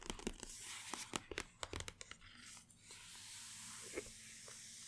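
Long painted nails tap and scratch with both hands on the top of a long, flat, closed white cardboard Apple Watch SE 2 box lying on a table. A quick run of sharp, dry taps gives way to a steady, bright, papery scratching hiss, with one more tap near the end.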